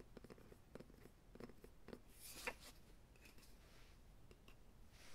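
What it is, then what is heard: Solid wooden rolling pin. A light, solid wooden rolling pin held across a lap is tapped and scratched along its barrel with fingertips and nails. Soft, quick taps with a low hollow tone around 490 Hz are mixed with brighter scratching swipes, all at a quiet level.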